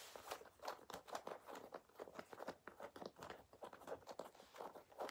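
Fingertips and nails scratch and rub a worn black leather jacket near the collar and chest, and a ring on the hand may touch the leather. A quiet, rapid series of short, dry crinkling and scraping bursts is heard, centered in the mids with a light bright hiss and almost no low end. Each scrape stops dead with no ring.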